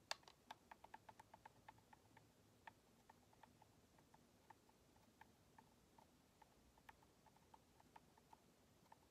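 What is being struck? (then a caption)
Plastic game controller. Long nails tap the shell and the purple thumbstick grips of a white, hollow plastic Xbox controller. A steady run of quick, light, dry clicks follows, each with a clear tick around 850 Hz and a bright edge that stops almost at once. The taps sit over a faint low background hiss.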